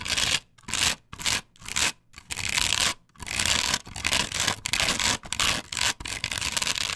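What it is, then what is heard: Solid plastic stencil on wooden board. Long pointed nails scratch across a flat plastic patterned stencil glued to a solid wooden board. Bright, dry, rasping strokes come in short separate bursts with brief silences at first, then run together into a denser, almost continuous scratching.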